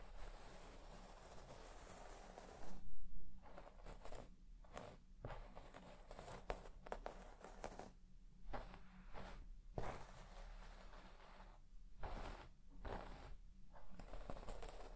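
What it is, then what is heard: Shag carpet scratched with a comb. A white plastic comb is dragged through the soft, deep pile of a large red shaggy textile carpet lying flat, its teeth scratching the carpet fibres. Quiet, bright rasping strokes come in repeated passes separated by brief gaps, over a steady low hum.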